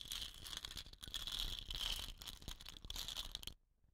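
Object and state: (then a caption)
Wooden rain stick. Long nails tap and scratch the painted body of a hollow, dot-painted wooden rain stick with a rattan-wrapped end, possibly rattling the filling inside. A dense stream of bright, crinkly scratching and light clicking taps runs for about three and a half seconds, then cuts off to near silence.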